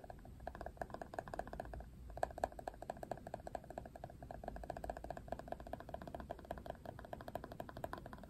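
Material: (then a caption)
Plastic. Fingernails scratch along the ridged surface of the hard plastic back of a Barbie paddle hairbrush. The result is a quiet, rapid stream of dry clicking ticks with a tonal edge around 700 Hz, each tick dying away almost instantly over a low background hum.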